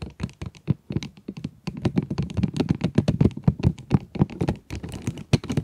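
Long nails tap and scratch the plastic window of a cardboard pencil box. The taps come in a quick, uneven run of short, dull, low knocks that die away almost instantly, with faint scratchy strokes between them.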